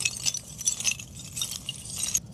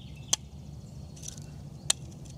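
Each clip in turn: First: dense carbonized coconut shell with a metallic clink. Second: carbonized coconut flesh, dull with no metallic clink.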